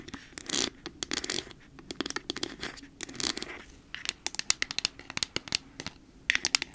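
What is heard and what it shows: Long nails tap and scratch a hollow, nearly empty clear plastic cosmetic bottle with a black cap. Bursts of bright, high scratching alternate with crisp, quick taps that die away almost at once, with very little low end.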